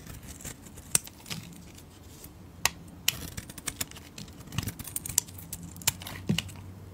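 A solid green, palm-sized rectangular soap bar, held in hands with long red nails, is shaved with a metal utility blade. Short, sharp, bright scraping clicks come in an irregular series, each dying away almost instantly. A faint low background hum runs underneath.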